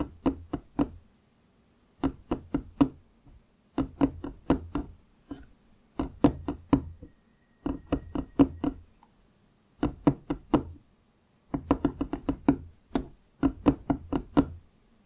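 Fingertips of both hands knock and tap a large, solid wooden desk surface near a foam-covered microphone that is not touched. The taps come in quick runs of about eight bursts separated by brief pauses. Each tap is short and dry with a hollow knock around 270 Hz and almost no ring.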